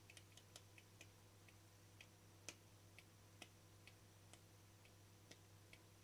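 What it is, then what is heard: Frosted plastic lid. Fingertips and nails tap the flat face of a small, round, hollow, translucent frosted plastic lid with a yellow-green sticker, held in one hand. The result is a series of quiet, sharp, bright ticks at irregular intervals that die away almost instantly, over a steady low hum.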